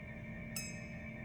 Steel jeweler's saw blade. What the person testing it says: ping it with your fingernail, it's like a really high tingy sound. And if you're not getting that, if it's more dull and thumpy, then it's not tight enough